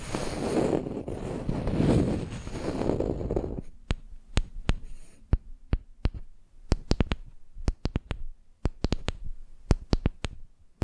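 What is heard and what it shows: A flat, solid wooden makeup brush handle rests on the microphone while long nails work on the wood. The first few seconds are a dense, low rumbling rub. It then gives way to sharp, dry, separate taps that crack bright and die away almost instantly over a quiet low hum.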